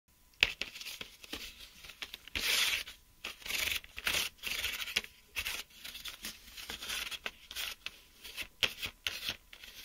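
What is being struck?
Plastic blister pack of mechanical pencils.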